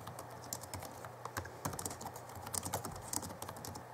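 Both hands type with their fingertips on the backlit chiclet keyboard of a 2011 Alienware M11x2 laptop, whose keys are plastic. Rapid, light key taps give short, bright clicks with almost no ring, over a quiet, steady low hum.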